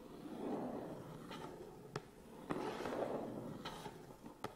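Fingertips and nails scratch and tap the front face and sides of a medium, hollow, closed Canon cardboard box. Soft, papery scratching swells and fades in low-mid tones, broken by four sharp, bright taps with short, dry rings.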